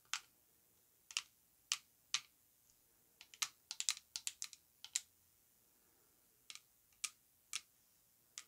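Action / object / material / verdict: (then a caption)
tap / coated glass perfume bottle / glass / none. Long acrylic nails tap the orange cap and the cylindrical body of an orange-coated glass perfume bottle (Lattafa Yara Tous) with gold metal bands, hollow and filled with perfume, held in the hands. About twenty quick, sharp, bright clicks come in loose bursts with pauses, each dying away almost instantly with no low resonance.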